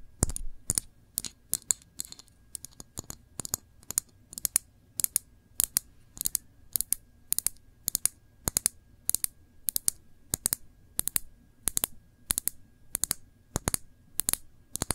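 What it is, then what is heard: Glass jam jar. Long nails tap a small glass jar full of cranberry jam, held upright, striking both the glass and its metal screw lid. The result is a steady run of sharp, bright, dry clicks that stop instantly with no ring, over a faint low rumble.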